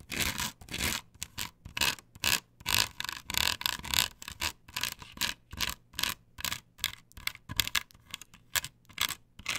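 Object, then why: Plastic stencil template on a wooden board. Long nails quickly scrape and scratch across a flat, perforated plastic stencil template glued to a wooden board. The result is a fast, uneven string of bright, hissy scratching bursts, roughly two per second, with short gaps between strokes and almost no low end.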